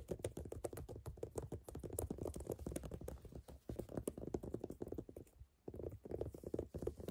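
Long nails rapidly tap and scratch the solid ridges of a brown ridged rubber sneaker outsole held in both hands. The result is a dense run of quick, dull clicks and soft scrapes, centered in the low-mid range with no ring. The pattering pauses briefly near the end before resuming.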